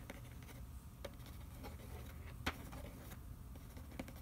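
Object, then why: Cardboard food box. Fingernails scratch and trace over the printed nutrition panel on the back of a hollow cardboard macaroni and cheese box. A quiet, steady papery scratching sits over a low rumble, with a few sharper taps or clicks standing out, the clearest near the middle of the clip.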